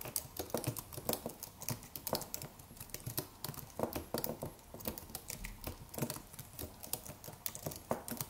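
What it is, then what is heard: Aluminium and plastic keyboard being typed on. Fingertips of both hands type rapidly on the white plastic keys of a slim white Apple-style wireless keyboard with an aluminium body. The result is a steady patter of short, dry, bright clicks with almost no ring, irregular in rhythm and occasionally louder on some keystrokes.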